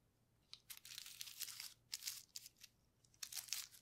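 Gloved fingertips press and rub a flat sheet of clear plastic bubble wrap, its hollow air-filled bubbles wet with paint, lying on a white table. The result is bursts of bright, high crinkling and squeaky rubbing with no low end, separated by short quiet gaps.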